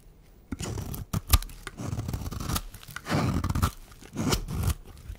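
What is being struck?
Bar of soap scraped with a metal blade.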